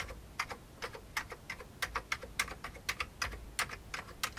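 Fingertips of both hands type on a full-size old beige plastic computer keyboard with a hollow plastic case. About nineteen quick, bright key clicks with a faint lower thock fall in an uneven rhythm, each stopping almost at once.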